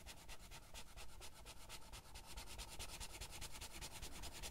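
A green felt-tip marker is rubbed back and forth in quick strokes across a thin paper page of an open Heartstopper coloring book lying flat on a table, with the other hand steadying the page. The result is a steady run of soft, bright, scratchy strokes over a low, muffled rumble.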